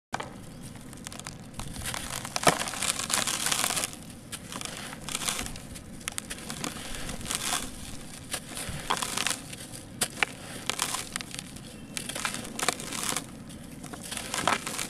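Bare fingertips and palms squeeze and crumble fist-sized, solid, dry, grainy grey sand-cement lumps in a dark plastic basin, with dust falling off. The result is a steady stream of gritty, bright crunching and crackling that swells into louder crushing bursts and then eases back to softer grinding.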